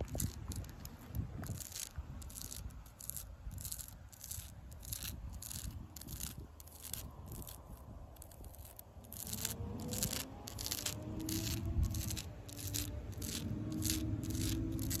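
Long pink acrylic nails scratch quickly and repeatedly along the ridges of deeply ridged bark on a solid tree trunk, making short, bright, rasping strokes at a brisk, uneven pace. A steady low rumble sits underneath, growing louder with faint humming tones in the second half.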